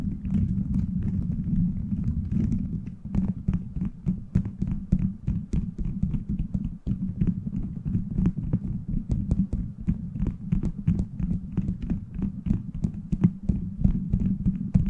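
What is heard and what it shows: Fingertips tap and scratch the beads of a plastic gummy-bear bead cover fitted over a microphone. A dense, steady run of quick, sharp clicks with very short decay sits over a heavy, muffled low rumble centred around 184 Hz. Brighter ticks stand out now and then throughout.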